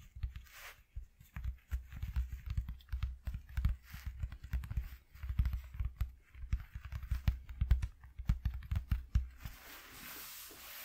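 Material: Cardboard.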